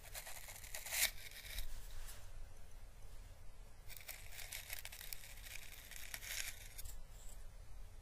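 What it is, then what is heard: Dried Chinese lantern husk. A hollow, orange, thin and papery dried Chinese lantern husk is held in the fingers and slowly brushed with paintbrush bristles. Soft, bright, crackling rustles come in two stretches of brushing over a steady low hum, each scratch fading almost instantly.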